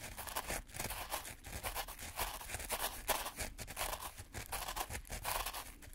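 Two gloved hands push and scrape wooden craft sticks through fine black-and-white speckled sand or grit in a white plastic tray. The result is a steady, gritty scraping and crunching hiss with bright, rasping texture that swells and fades as the sticks are drawn back and forth in repeated strokes.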